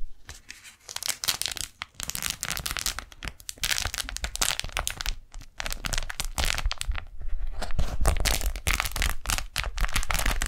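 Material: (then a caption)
Waxed cotton. Fingers fold a pink daisy-print beeswax-coated cotton food wrap held up close to the microphones, then peel and pull its stuck halves apart. Dense, uneven crinkling and crackling fill the clip, with sharper tearing bursts that reach bright highs over a low rumble. The sound grows fuller and louder toward the end as the halves separate.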